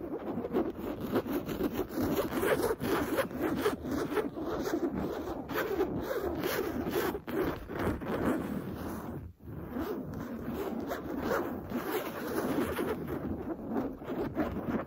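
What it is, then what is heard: Cotton canvas pillow being scratched. Long blue nails scratch quickly and steadily across a soft, stuffed printed cotton canvas pillow with a smooth cream cover. The result is a dense, raspy scraping rustle centered in the low mids, with a brief pause just past nine seconds before the scratching resumes.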